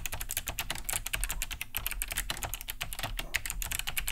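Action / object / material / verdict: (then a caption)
tap / plastic mechanical keyboard / plastic / none. Fast two-handed fingertip typing on a large beige Cherry G80-3000 keyboard fitted with Kailh BOX White switches, with a hollow plastic case and thick plastic keycaps, resting on a wooden desk. A steady stream of bright, clicky key-switch taps with short, sharp attacks sits over a low hollow thump from the casing.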